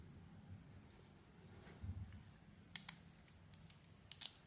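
A solid white, glitter-covered Isana Med bar of soap is held in the hand while its surface is shaved off with a metal blade. After a quiet stretch of low rumble, seven short, bright, crisp scraping clicks follow in the second half, each stopping almost instantly.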